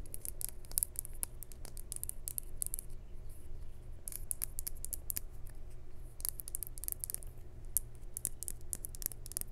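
Long white acrylic nails tap and scratch the flat faces and edges of a small, solid, clear glass crystal cube with laser-etched hearts inside, held in the hand. Quick, sharp, bright clicks and scrapes come in clusters with almost no ring, over a steady low hum.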